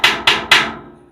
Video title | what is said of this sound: O QUE TEM NUM ABRIGO SECRETO? - TOUR COMPLETO - SOBREVIVENCIALISMO, SEGURANÇA E AUTOSSUFICIÊNCIA | it's solid, it's very solid, it's a very thick sheet